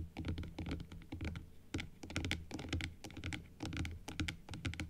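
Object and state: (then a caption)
Plastic dental teeth model. Long blue acrylic nails tap quickly on the plastic frame and teeth of a small hollow plastic dental jaw model held upright and then closed. The result is rapid, uneven, dry clicking taps with a hollow low thump under each bright tick, dying away almost instantly, like fast typing on a keyboard.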